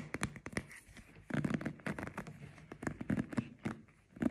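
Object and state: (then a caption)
Plastic paddle hairbrush. Fingertips and nails scratch and rub across the bristles and the back of the hollow, cushioned head of a hand-sized black plastic paddle hairbrush with a cushioned bristle pad and a rubber-gripped handle. The result is a quick run of dry, crackling scratches and short rustling strokes that start and stop abruptly.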